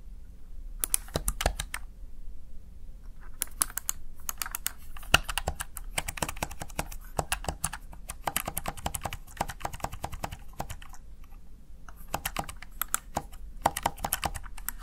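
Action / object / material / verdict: tap / plastic keypad keys pressed by fingertips / plastic / none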